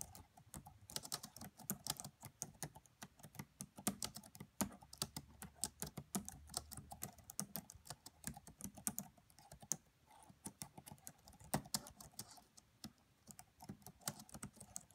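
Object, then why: Plastic laptop keyboard keys. Both hands, fingertips and long manicured nails, tap rapidly on the black plastic chiclet keys of a red laptop with a hollow body. The result is a quiet, steady stream of short, dry, bright clicks with faint low thumps beneath.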